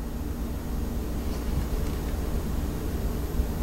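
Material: Nothing is struck.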